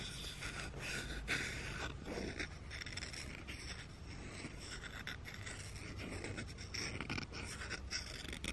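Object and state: Wooden spoon.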